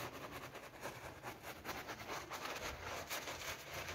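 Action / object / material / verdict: scrape / PVC coil door mat scrubbed with a brush / PVC vinyl / none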